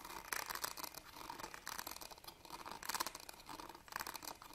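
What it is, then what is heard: Metal purse clasp frame. Fingernails scratch the ribbed, gold-coloured metal clasp frame of a small, hollow, embroidered fabric purse held upright. The result is dry, bright, rasping scratches that swell into louder bursts and fade again, with almost no low end.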